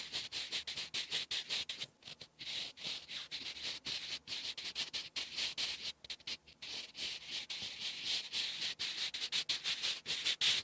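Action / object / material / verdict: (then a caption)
scrape / graphite pencil on paper sheet / paper / none. A sharpened wooden graphite pencil, held in the hand, writes cursive strokes across a flat sheet of lined writing paper. Its bright, dry scratching comes in quick, separate bursts, with brief pauses between strokes. The sound is almost entirely high-pitched, with no low-end body.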